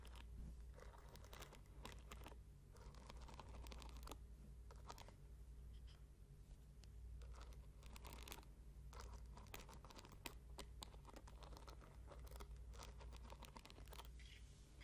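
Long nails scratch and flick repeatedly across the wooden pins of a small bamboo paddle hairbrush held close to the mic. The result is a dense run of quiet, crackly scratches and sharp ticks over a steady low hum.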